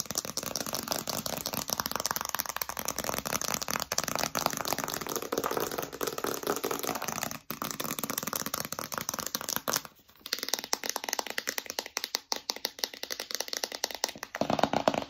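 Long acrylic nails tap rapidly on the printed front face of a small, hollow, rigid cardboard iPhone retail box held upright in both hands. The taps make a dense, crisp, bright clatter with a hollow midrange tone and almost no ring. There are brief pauses near 7.5 and 10 seconds.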